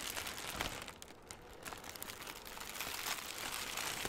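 A loosely balled, hand-sized piece of light, airy green crinkly plastic film (cellophane or mesh) is squeezed and crumpled with fingertips right beside the microphone. It makes a dense, bright crackling and crinkling that eases briefly around the one-second mark, then builds back up to a steady rustle.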